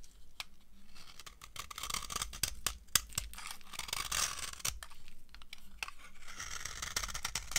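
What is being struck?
Bar of soap scraped with a metal knife.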